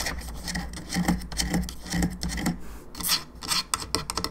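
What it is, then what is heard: Hollow plastic skull lamp. Long fingernails scratch and tap on a hollow, molded, painted plastic skull candelabra lamp with bone arms and three candle sockets, lit from inside, working over the skull top and the bone arms. Dry, raspy strokes come in a loose, uneven rhythm, with bright scratchy bursts over a low hum and short, quickly damped taps.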